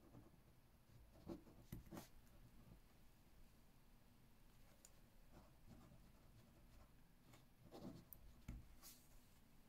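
A metal ballpoint pen, held in the fingertips, writes left-handed across an open spiral-bound notebook whose page is full of handwriting. Quiet, soft scratching of the pen on paper sits over a low background hum, with a few brief, sharper ticks and bright strokes standing out.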